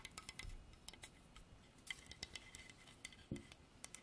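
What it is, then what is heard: Carved hardwood horse statue. Long dark artificial nails tap and scratch a solid, dark polished hardwood carved horse statue on a base. It's a quiet, quick series of about twenty sharp, bright clicks with a faint scratchy texture. Each tap dies away almost instantly, with a slight tonal click near 2 kHz.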